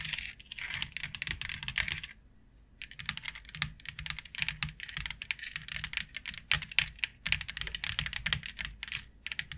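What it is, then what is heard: Plastic grid board tapped with long nails. Long nails tap rapidly on a thin, flat white plastic plaid grid board with a fine grid pattern, making dense, bright, dry clicks that stop almost instantly. The tapping runs in quick bursts, with a short pause near the two-second mark before it resumes, over a faint low hum.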